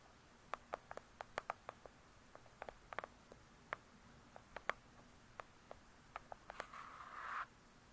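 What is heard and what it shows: Long acrylic nails tap on the glossy cover of a thick, solid "True Crime" hardcover book, producing about twenty quiet, sharp clicks with very short decay. The taps are spread unevenly over several seconds, and the clip ends with a brief, brighter scratch across the cover.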